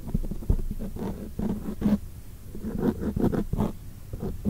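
Long acrylic nails tap and scratch on a black foam microphone windscreen, producing soft, muffled, low-heavy thumps and rubbing scrapes. Brief taps and clusters of dull scratching follow one another unevenly, with little high-end brightness.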